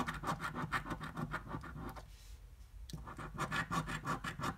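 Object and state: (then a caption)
Coin scratching a paper scratch-off ticket. A half-dollar coin's edge is dragged quickly across a flat, thin paper scratch-off lottery ticket lying on a dark table and held with one hand, scraping off its latex coating. Quick rasping scratch strokes with a mid-pitched, papery grain follow in an uneven rhythm. They stop for a short quiet pause near the middle, then resume just as briskly.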